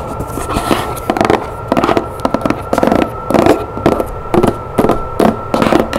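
Long nails tap and scratch a hollow, decorated printed cardboard box with a lid held on a table, making quick bursts of dry crackling clicks and scratches. A steady faint tone runs underneath the tapping throughout.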